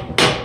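A hammer lightly taps the cracked aluminum case of a 4L60E transmission, giving a sharp, bright, chattery metallic tap whose ring fades over about a quarter second. As it is tapped, moisture seeps through the stress crack, confirming the case is cracked.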